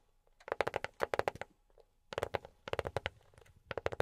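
A box is tapped with silicone rubber pads worn on the fingertips. Rapid, soft, dull taps come in three quick bursts, with a mid-pitched, hollow tone and very little ring.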